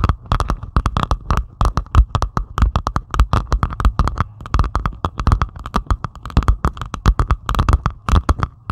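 Long pointed acrylic nails scratch rapidly across the beaded surface of a flat diamond painting made of plastic resin drills on canvas. The result is a steady stream of quick, short scratchy bursts with a heavy low thump, a faint ring near 1 kHz, and very little high end, each stroke dying away almost instantly.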